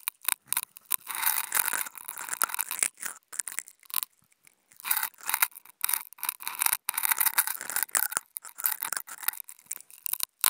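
Two wooden toothpicks scratch and poke at a flat white non-woven fabric sheet, making dry, bright scraping bursts with almost no low end. The rough, papery rasps come in uneven strokes and quick taps, with a brief near-silent pause around the middle before the scratching resumes.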